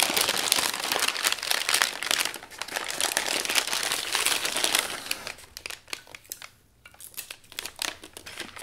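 Brown kraft packing paper is folded around a flat wrapped item as both hands pinch, fold and press the crumpled paper. Dense, bright crinkling and crackling fills the first five seconds, then thins into sparser, quieter crinkles with brief pauses.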